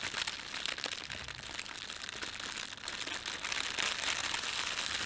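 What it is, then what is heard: Plastic bread bag being crumpled. Fingertips gather and crumple an empty, thin red printed plastic bread bag. A dense, continuous crackling crinkle fills the clip, bright and high with almost no low end, growing slightly louder toward the end.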